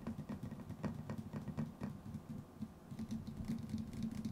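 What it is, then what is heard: Metal tin lid. A small round metal tin with a white lid, likely hollow, is held in one hand and tapped on the lid with the fingertips and nails of the other. The result is a quick, uneven patter of light clicky taps, each dying away almost at once, over a steady low hollow hum centered around 230 Hz, with brief bright ticks from the nails.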